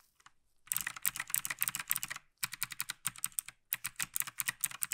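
Gloved fingertips tap the arrow and navigation keys on the right side of a black plastic tenkeyless mechanical keyboard, a Logitech G PRO TKL. Bursts of rapid, bright, clacky keystrokes come in two runs separated by a short pause, each click sharp and dry with almost no ring.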